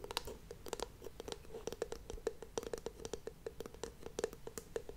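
The solid, oval wooden lid of a WoodWick candle is held close to the mic and tapped and scratched with long painted nails, then rests on the glass jar at the end. A quiet, steady run of dry, crisp clicks and scratches is heard, each tap sharp and short with no ring.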